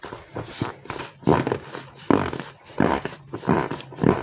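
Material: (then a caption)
Foam. Bare fingers squeeze, press and rub a palm-sized green and white slow-rise polyurethane foam frog squishy toy made of solid foam. The result is a series of soft, muffled squishy squeaks and rubbing sounds that come in uneven, overlapping bursts. Most of the sound sits in the low-mid range, with very little high-end.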